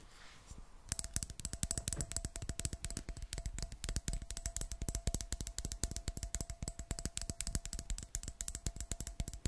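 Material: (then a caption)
Glass. Fingernails tap rapidly on a clear glass jar with a metal screw lid, partly filled with water. After about a second of near-quiet, a fast, uneven stream of short, sharp clicks runs to the end, with a faint steady tone underneath.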